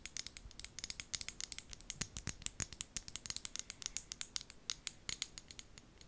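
Long gold nails tap and scratch a small amber glass bottle and its white plastic lid, held close to the mic. About 45 quick, bright clicks land in a fast, uneven rhythm, each dying away almost at once, with faint scratchy friction between them.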